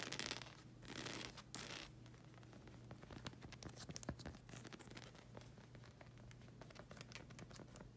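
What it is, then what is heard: Rubber sandal sole, scratched. Long red acrylic nails scratch and tap the solid, textured black rubber sole of a slide sandal with a flag-print strap. Bright, dry scratching rasps and quick clicky taps come in dense, irregular bursts, louder near the start. A steady low hum sits underneath throughout.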